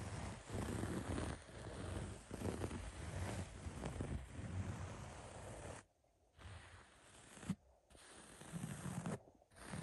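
Fingertips and short nails scratch the beige, coarse basket-weave upholstery of a padded recliner. A dense, low, rumbling scratching texture with rough, irregular strokes breaks off into short near-silent gaps before resuming.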